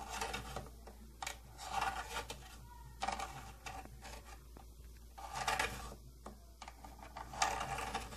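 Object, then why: Plastic tattoo kit case. Long painted nails tap and scratch the side of a closed, hollow, round purple plastic tattoo kit case with silver trim. Bursts of bright, rasping scratches alternate with short hollow taps that ring around 780 Hz, over a steady low hum.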